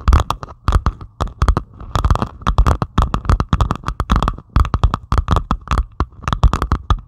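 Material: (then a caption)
Plastic resin. Long pointed acrylic nails scratch rapidly across a flat diamond painting of plastic resin drills on canvas. The result is a dense run of short, dry, crackly scratching bursts with a low thumpy body and bright clicky edges, broken by brief quiet gaps.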